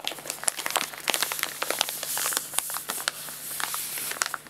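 An empty, hollow printed paper guinea pig food bag is rolled, rubbed and crinkled with fingertips and palms. The result is a steady stream of bright, dry crinkling and crackling with sharp snaps scattered throughout, with almost nothing in the low end.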